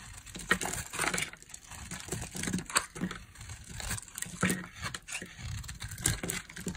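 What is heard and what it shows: A metal blade shaves dry flakes from the edge of a solid orange oval bar of soap held in the hand. Short crisp scraping and crumbly crackling strokes repeat irregularly, with brief bright clicks as flakes break off.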